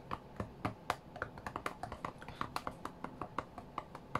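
Fingertips of both hands tap the glass touchscreen of an iPad tablet lying flat on a cutting mat, in a quick, uneven rhythm. About 24 short, dry clicks with almost no ring each have a hollow knock centered around 700 Hz to 1 kHz, over a faint low hum.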